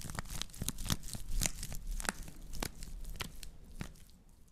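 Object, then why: Woven straw plate. A woven natural-fiber straw plate is scratched with long nails, then turned so its hollow side faces close to the mics. Dry, crackling scratches and crisp, bright ticks come in an uneven run over a soft low rumble. The sound gradually quiets toward the end.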